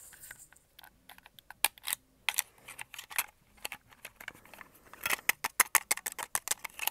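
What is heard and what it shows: A white and red hollow plastic Xbox controller is turned in the hands while fingertips and nails tap and scratch its shell and grips. The result is a quiet, irregular run of short, dry, bright clicks and scratchy rustles that get denser and sharper toward the end.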